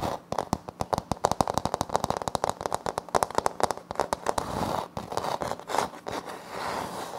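Both hands tap and scratch quickly with fingertips and short nails on a flat, solid wood-look laminate floor panel with a light wood-grain print. A rapid run of crisp, dry clicks with almost no ring fills the first half, then gives way to softer, continuous scratchy rubbing. The sound is centered in the mids with little low end.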